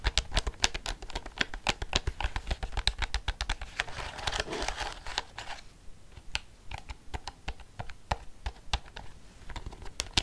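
Long fingernails tap and click the buttons of a black plastic desk calculator held in the hand. Sharp, dry, bright clicks come in a rapid, uneven stream. Between about four and five and a half seconds they blur into a denser, softer rustle, then continue as quieter, sparser taps.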